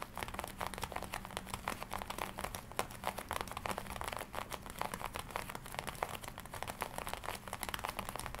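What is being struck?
Leather jacket.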